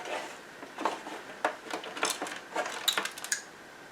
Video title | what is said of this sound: Can I Fix this XBox One with an intermittent display problem? (faulty hdmi port?) | can definitely hear something rattling inside there